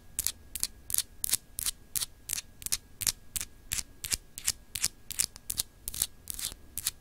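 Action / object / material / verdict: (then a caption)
scrape / small solid clear glass globe paperweight / glass / none. Long acrylic nails of both hands scratch and tap a small, solid, clear etched glass globe paperweight, making about two dozen short, bright, scraping bursts at a quick, slightly uneven pace of about three per second. Each burst is crisp and dry with almost no ring, and a faint steady hum sits underneath throughout.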